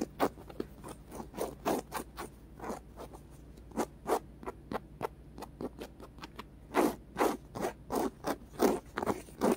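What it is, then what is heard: Polyurethane foam squishy being scratched. Fingernails rapidly scratch a small, solid, white polyurethane foam squishy with rainbow stripes and colored dots. About thirty short, dry, brushy scrapes come in an uneven rhythm, each a soft rasp with a bright hiss. The louder strokes cluster toward the end.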